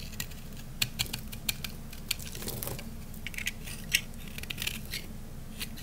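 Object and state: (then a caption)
Dry soap bar shaved with a blade. A utility knife blade shaves thick flakes off the face of a solid, round, peach-colored dry soap bar. Short, bright, crisp crackles and snaps come in scattered bursts, dying away almost instantly over a low, steady hum.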